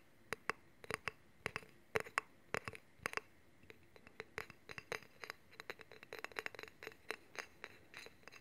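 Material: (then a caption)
Steel. Fingernails tap and scratch along a long solid steel honing rod and its handle, with the rod held horizontally in both hands. The result is a run of sharp, bright metallic clicks and short scratches, each dying away almost at once over a quiet background. The taps come sparser at first and then quicker and denser toward the end.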